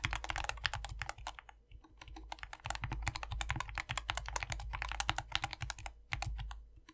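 Two hands type continuously with their fingertips on a compact 60% SK61 optical mechanical keyboard after a lube mod, with a foam-filled white plastic case and green, white and pink PBT keycaps. Dense, short, clacky keystrokes with a bright top and a clicky body around 1.8 kHz stop almost instantly over a steady low rumble. The typing briefly thins out near two seconds before resuming at a quick pace.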